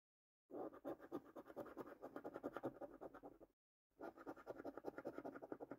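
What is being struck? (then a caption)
Paper scratch card with latex coating. A coin held in the fingertips scratches the silver latex coating off the panels of a flat, thin cardboard lottery scratch card held in hand. Rapid, raspy back-and-forth scraping strokes come in two bursts, separated by a brief silent pause.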